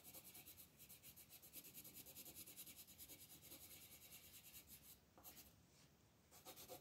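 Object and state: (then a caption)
Colored pencil shading on a paper page. A green colored pencil is rubbed back and forth across a flat, thin paper coloring book page on a table, shading the leaves at the upper right. It makes a quiet, steady, bright scratching rasp of rapid strokes that eases briefly near the end before the strokes pick up again.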